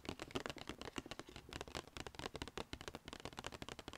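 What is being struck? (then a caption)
Paper gift bag. Long red painted fingernails tap fast on the flat sides of a small, hollow black-and-white striped Sephora paper gift bag held upright on a lap. The result is a rapid run of about twenty dry, papery taps with a light hollow thump, each dying away almost instantly.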